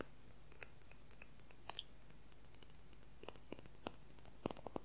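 A transparent plastic ruler, held at angles and horizontally, is tapped and scratched with fingernails. It gives a quick, irregular series of quiet, sharp, bright clicks with no ring, over a low steady background hum.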